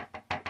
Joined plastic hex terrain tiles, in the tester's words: if I'm tapping on the edges here, you don't have that insane rattling that we were seeing on earlier printings.